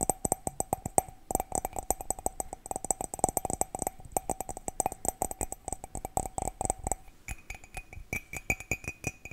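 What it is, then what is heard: Ceramic mug. A cat-shaped ceramic mug is tapped rapidly with quick, steady strikes, giving bright, short clinks with a ringing tone around 750 Hz. Near the end the tapping thins out and the tone shifts higher, to around 2.5 kHz.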